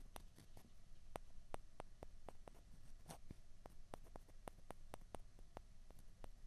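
Two small, hollow white plastic ping pong balls are pressed together and scraped against each other with the fingers. The result is a quiet run of sharp, dry clicks and brief taps with soft scraping between them, over a low hum.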